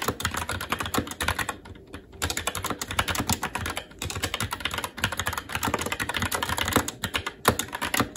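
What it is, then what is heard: Plastic mechanical keyboard being typed on. Continuous fast typing with the fingertips of both hands on a SteelSeries Apex 7 TKL mechanical keyboard with plastic keycaps on a metal top plate and Red linear switches. The rapid, dense keystrokes give short, bright plastic clacks with a low thock underneath, pausing briefly around 2 and 4 seconds.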